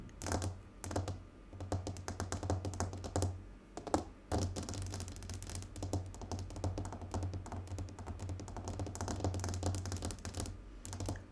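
Fingernails tap rapidly on a glass tabletop, producing a dense run of short, dry clicks with little ring, broken by a few brief pauses, and the pattern resembles fast typing.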